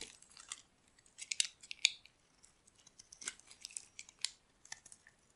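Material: Soap.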